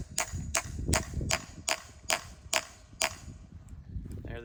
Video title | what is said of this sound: Backyard maple tree tapping | The sound got really deep. That's a good sign that we're in the right spot.